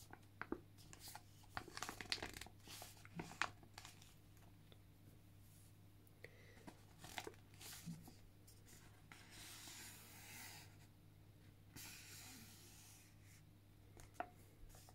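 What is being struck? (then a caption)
Foil-lined plastic sachet. A flat, thin, flexible pink foil-lined plastic sachet holding an elf Primer Mask sheet face mask is held in both hands and handled with fingertips and medium-length painted nails. Its surface is crinkled, scratched and tapped, giving sharp, bright crackles and clicks over a steady low hum, with longer rustling stretches in the middle.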